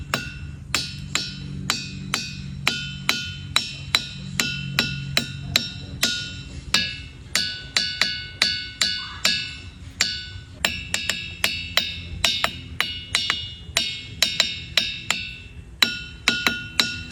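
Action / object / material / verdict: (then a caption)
strike / diabase boulder struck with a hammer / diabase / none. A hammer strikes diabase boulders at Ringing Rocks Park in Bucks County, Pennsylvania, in a steady run of about 42 sharp hits. Each strike gives off a short, bright, bell-like ring with clear tones around 1.4 kHz and 2.7 kHz. Fainter hammering from other visitors can be heard in the distance, and the rocks ring as expected.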